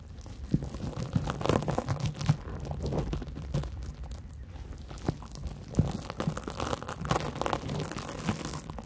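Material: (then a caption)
Cellulose. A large porous yellow cellulose sponge is scratched and gripped with long nails above the microphones. There is a continuous soft crunching and crinkling texture with scattered sharper scratchy clicks, mostly low and muffled.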